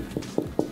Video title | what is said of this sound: ONE OF THE CUTEST KIDS YOU'LL EVER MEET... (Sore Throat & Fever) - Dr. Paul | tapping on your tummy and it sounds hollow like a drum